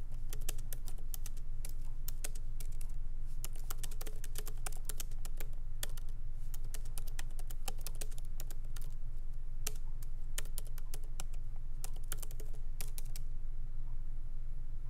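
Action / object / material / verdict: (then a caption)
tap / laptop keyboard, plastic keys in metal body / plastic / none. Both hands tap continuously with their fingertips on the low-profile plastic keys of a MacBook Pro keyboard set in a solid aluminum body. The result is a fast, uneven stream of bright, short clicks over a steady low hum.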